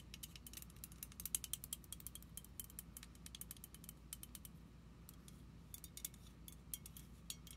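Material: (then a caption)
Plastic. Long nails tap and scratch the label and clear cap of a small purple plastic foam pump bottle standing upright. Rapid, bright, clicky ratchet-like ticks come in uneven bursts over a steady low hum, each click dying away almost instantly.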